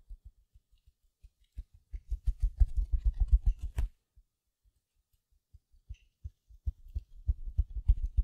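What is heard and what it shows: A small silver glitter mesh-covered foam sponge is held close and scratched with long nails and squeezed, giving a run of soft, low, dull taps and thumps with faint crinkly scratching. The sound builds into dense scratching bursts, pauses to near silence, then picks up again with scattered taps and more squeezing.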